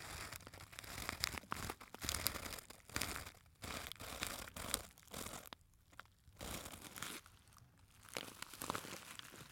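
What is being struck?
Small glitter fabric clutch purse with a metal clasp.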